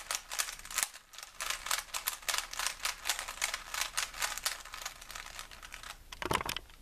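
A small solid plastic 3x3 Rubik's cube with colored stickers is held in both hands and twisted by the fingers, its layers clicking and rattling. The result is a steady stream of quick, bright clicks with almost no low end, ending in a louder clattering twist.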